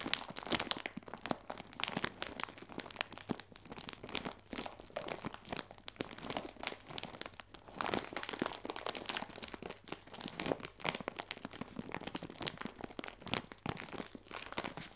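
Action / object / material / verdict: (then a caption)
scrape / thin plastic film bag filled with biscuits / plastic film / none. A clear plastic film bag with a twisted top, full of round biscuits, is squeezed and crinkled with both hands and fingertips. It gives a steady stream of bright, crackling crinkles and sharp crunchy snaps with no ring after them. Louder bursts rise above the constant rustle throughout.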